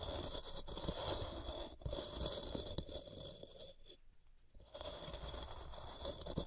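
Long fingernails repeatedly scratch the top face and edges of a large, solid white gym chalk block of magnesium carbonate resting on a cork mat, piling powder up around it. A steady, dry crunching scrape with a rough, grainy texture fills the clip, easing briefly to near-quiet around the four-second mark before resuming.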